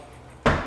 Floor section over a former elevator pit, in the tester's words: you guys can hear that hollow sound